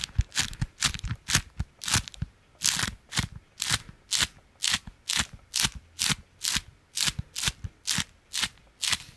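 A folded, stiff beeswax-coated fabric food wrap is held in one hand and flicked and scratched with the fingertips of the other. It gives a steady run of short, bright, crinkly crackles at a fairly quick, uneven pace, with faint low thumps under some strokes.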